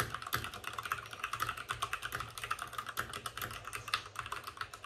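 Fingertips of both hands type fast on a white RGB-backlit mechanical keyboard with plastic keycaps and a hollow plastic case. The result is a rapid stream of sharp, bright, clacky keystrokes centered around 1.2 kHz. Each click dies away almost instantly, with little low-end thump.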